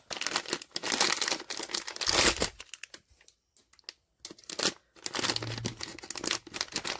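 A sealed cardboard blind box holding a vinyl figure, The Vigilance, is shaken in a shake test. Dense, bright rattling and crinkling bursts come in quick clusters, broken by a short near-silent pause, then more shaking.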